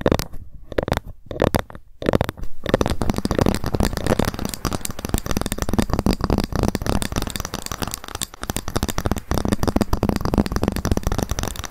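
A ruler is tapped quickly with long fingernails and occasionally scratched. Short pauses in the first two seconds give way to a continuous flurry of dry, clicky taps with almost no ring, mostly low and mid in tone with a faint hollow pitch.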